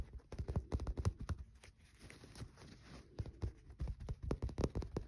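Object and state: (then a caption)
Bar of soap. A solid green bar of soap held in the fingers is tapped rapidly with fingernails and scratched, leaving shavings on the dark cloth below. Dull, low, dry taps come in quick irregular bursts, with a softer stretch of scratching in the middle before the tapping picks up again.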